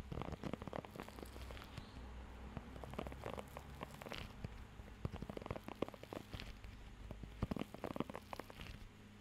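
A blue rubber pet hair grooming glove with raised nubs is held close to the microphone while fingertips scratch and tap across the nubs. The result is a steady, quiet stream of soft, dry crackling scratches and short taps with a low, muffled body and little brightness.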